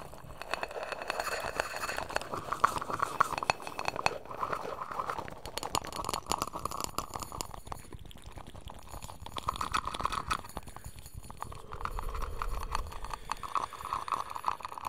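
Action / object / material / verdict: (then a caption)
tap / small round lidded metal tin / metal / none. A small round metal tin or canister, apparently lidded, is held in both hands while fingertips tap and scratch across it. Dense, irregular little clicks and scratches run throughout over a hollow metallic tone around 1.1 kHz that swells and fades in bursts. Each tap dies away almost instantly.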